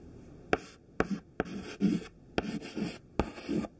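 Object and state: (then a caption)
Chalk writing on a chalkboard. A thin white stick of classroom chalk, held in the fingertips, writes letters near the top of a smudged black chalkboard. Sharp taps as the chalk meets the board start short, scratchy strokes that rasp in bursts with brief pauses between them.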